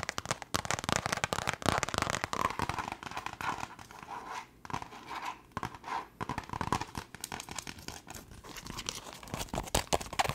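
Long nails tap and scratch fast and close on a small, hollow black leather glasses case. Dense, irregular clicks and scraping rasps pile up over a broad, bright band, with brief lulls between flurries.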